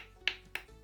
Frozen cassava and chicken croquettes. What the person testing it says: Quando eles estão congelados, eles ficam assim, olha, com som de pedra